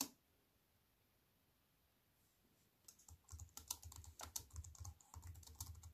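Fingertips with long white nails type on a compact wireless keyboard with black plastic keys in a thin aluminium frame, resting on a wooden table. After about three seconds of near silence, a quick, steady run of bright key clicks and soft low thuds begins and continues to the end.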